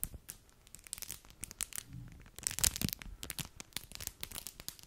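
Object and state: Foil-plastic snack wrapper crinkled.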